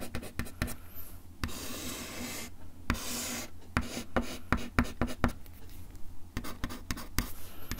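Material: Wood.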